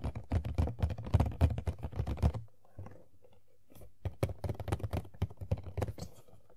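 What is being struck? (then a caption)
Cardboard toy box with plastic window. Long nails rapidly tap the top and front of an empty, hollow printed cardboard Funko Pop box (Tuxedo Mask) with a plastic window. The taps land as quick, uneven clicks with a low, hollow thud. They pause briefly in the middle, leaving faint scratchy sounds, then resume in a second burst.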